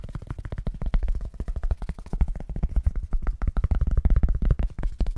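A thin, flexible white foam packing sheet, held close to the microphone and bent slightly, is tapped and scratched fast with fingertips and nails. The result is a rapid, continuous stream of short, deep, muffled thumps with almost no ring and little high content.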